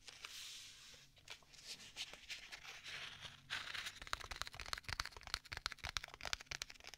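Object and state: Leather tablet case.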